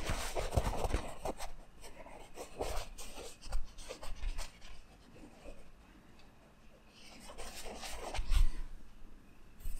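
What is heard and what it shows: Fingertips and short nails scratch and rub across the red rose and skull screen print on a black cotton t-shirt worn on the body. It makes soft, dry, scratchy rustles in uneven bursts with bright crackle and faint low thumps. The rubbing quiets to a near hush in the middle, then swells louder again near the end.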